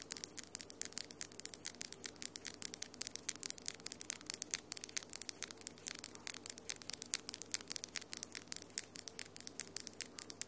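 Long acrylic fingernails with pink and glitter polish, solid, click and scratch against each other just above a microphone. A rapid, steady run of short, bright, dry clicks sits over a faint scratchy hiss, with almost no low end and no ring after each tap.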